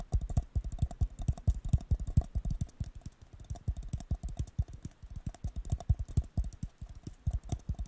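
A hollow, empty blue disposable paper cup is tapped rapidly on its bottom and side with fingertips and nails. The taps land as quick, irregular, dull low thuds with very short decay, each with a faint bright click from the nails.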